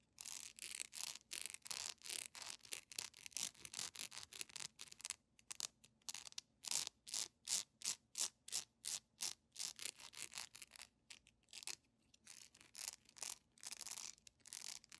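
Long nails scratch and rub a solid, hand-sized, yellow beeswax candle with a honeycomb texture while it is turned in the hands. The result is a fast, uneven run of short, dry scraping strokes that are bright and hissy, with almost no low end.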